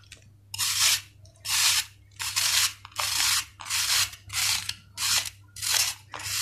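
A steel kitchen knife scrapes across the flat cut face of a solid sand-cement ball in steady, repeated strokes. Each stroke is a bright, gritty rasp, heard as eight full scrapes with short pauses between them and a ninth starting as the clip ends.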